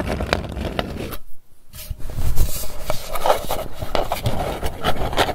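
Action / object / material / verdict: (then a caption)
scrape / round metal candy tin lid / metal / none. Long nails scratch and rub across the lid of a round, hollow Hershey's Kisses metal candy tin, which is then held up facing the camera. The dense, raspy scratching pauses briefly for a near-silent moment, then returns in uneven strokes. The scraping is dry, close and heavy in the low end.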